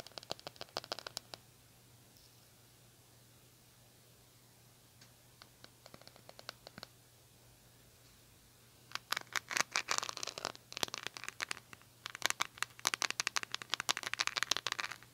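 Long nails tap and scratch the patterned plastic back of a silver-handled hairbrush turned over. Brief bursts of sharp, bright clicks and scratches come first, then a quieter stretch. Denser, louder bouts of rapid tapping and scraping follow from about nine seconds on.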